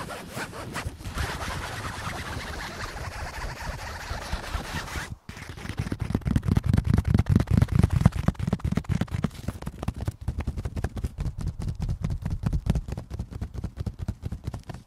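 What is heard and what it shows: Fingertips scratch and rub the taut pink, strawberry-print synthetic fabric of a pop-up shade cover stretched over a wire frame, close to the microphone. A dense, steady scratching runs for about five seconds, then after a brief pause gives way to quick, rhythmic rubbing strokes with a deep, muffled low-end thump.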